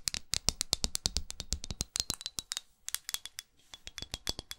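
Long acrylic nails rapidly tap and scratch a small red pyramid-studded glass perfume bottle held in the hand, working over the studded glass and its edges. About 33 crisp, bright clicks come in quick bursts with no ring, trailed by faint scraping between taps and a thin high tone under the later hits.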